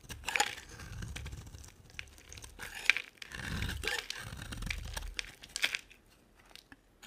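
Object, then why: Dry soap bar scraped with a blade. A solid, hand-sized pink-and-white striped bar of dry soap is held in the hand and shaved and scraped with a utility knife blade. Bright, crisp scraping and crunching comes in short bursts, with a soft low rumble beneath the longer strokes, and quieter pauses between the cuts.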